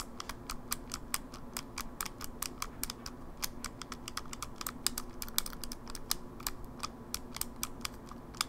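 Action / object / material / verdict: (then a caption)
tap / plastic handheld game console / plastic / none. A closed, small, hollow silver plastic Game Boy Advance SP is held in both hands while fingertips and nails rapidly tap its edges and click its shoulder buttons. The result is a fast, uneven stream of sharp, bright, dry clicks with no ring, over a faint steady low hum.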